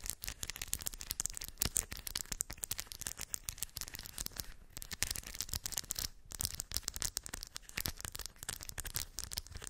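Long white acrylic nails scratch and tap across small shiny silver metallic beads filling a round cork coaster. The result is a dense, continuous stream of quick, bright clicks and rattling scratches with very short, dry decay and no ringing.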